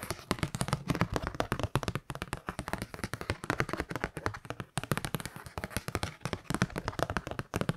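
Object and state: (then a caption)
Kraft paper card. A kraft-paper Christmas card is held in both hands while fingertips and long nails tap and scratch its paper. The result is a steady stream of quick, dry taps with a soft low thump, mixed with papery scratching and almost no ring after each hit.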